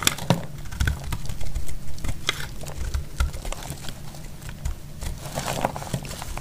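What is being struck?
Soap bar cut with a metal blade.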